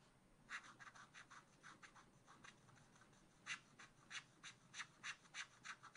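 A wooden stylus scratches lines through the black coating of a scratch art card in a spiral pad. About eighteen short, dry, bright scratching strokes come in a quick, uneven rhythm, with the later strokes sharper and louder.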